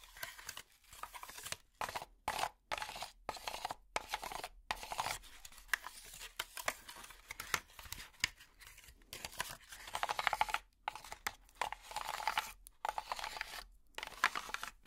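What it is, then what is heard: Honeycomb cardboard packaging. Long plastic finger picks scratch and rake across a brown honeycomb cardboard packaging block with hollow ridged cells. The result is a run of dry, papery rasping strokes with a bright, crackly edge, coming in quick bursts separated by brief silences.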